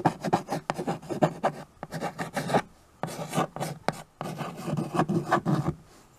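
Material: Chalk, slate.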